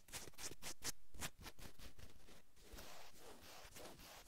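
Long almond-shaped acrylic nails on both hands scratch across a navy fleece-knit cotton sweatshirt worn on a man's back and shoulders. Quick scratching strokes give a bright, raspy scrape over a dull low rumble. They then blend into softer, steadier rubbing across the fabric.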